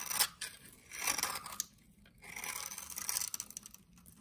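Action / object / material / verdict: scrape / bar of soap scraped with a knife blade / soap / none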